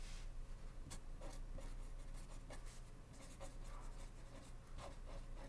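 A blue ballpoint pen scratches across a small white paper index card lying flat on a wooden desk, held down by fingertips, while writing. Quiet, irregular bright scratching strokes come and go over a steady low hum.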